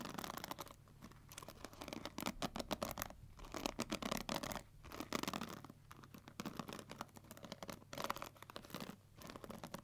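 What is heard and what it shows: Long nails run along and flick the black plastic pins of a pink plastic paddle hair brush. Rapid, dense clicks and scratchy rattles spread from low mids to high, bright tones, arriving in bursts separated by brief quieter gaps. A faint low hum sits steadily underneath.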